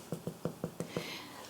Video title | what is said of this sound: What a Soda Bread! | that's how you know that your bread is cooked all the way through